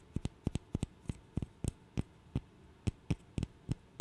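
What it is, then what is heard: Wooden burr puzzle. A small, solid, light wooden interlocking burr puzzle is held in the fingers and tapped and clicked with the fingernails. The result is a series of short, dry, muffled taps, often in quick pairs, at uneven intervals with almost no ring. Each tap is a dull, low knock with a faint bright click on top, over a quiet background.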